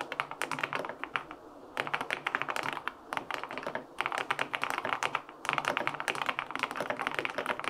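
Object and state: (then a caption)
Aluminum mechanical keyboard with plastic keycaps. Fingertips type on the plastic keycaps of a white-and-pink full-aluminum 65% keyboard with linear switches. Quick runs of short, crisp keystrokes come in four bursts separated by brief pauses, each tap dry and bright with almost no low end or ring.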